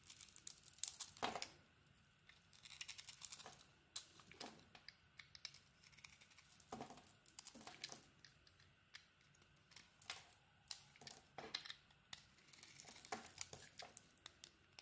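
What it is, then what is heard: Bar of soap being carved. A solid Cleopatra soap bar with a red coating and a cream interior is held in the hand and carved with a utility blade. Quiet, bright, crisp shaving and scraping strokes come in quick bursts with brief pauses, each cut a dry, papery rasp with almost no low end.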